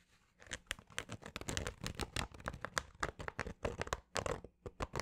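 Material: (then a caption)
Fabric. Fingernails scratch the fabric of a green snapback baseball cap held in both hands with the brim toward the mic. The result is a quick, uneven run of dry, rasping scratches with crisp bright edges and no lingering ring, between brief gaps of near silence.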